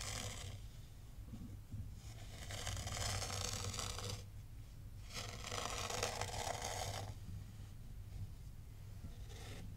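A small black rake is pulled through fine white sand in a tray, scraping and combing ridges into it. Bright, gritty scraping comes in long swells that fade between strokes, over a steady low hum.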